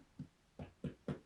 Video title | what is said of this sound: Honey Oat Bread - BAKE WITH ME - Lockdown Baking Ideas | So it's perfectly hollow. When you tap on the top, you can hear.